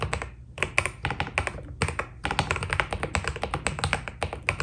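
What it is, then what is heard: Mechanical keyboard with PBT keycaps. Fingertips type steadily on a white Keydous NJ80 mechanical keyboard with PBT plastic keycaps, giving a quick run of short, crisp key taps. Each press has a bright clicky top over a soft low thock, with almost no ring after each stroke and a brief pause in the middle of the run.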